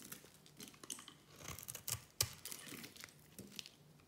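A solid oval white soap bar is held in the hand and cut into thin curls with a small metal blade. Quiet, bright, dry scraping and crisp crunching, with a sharper snap just after two seconds.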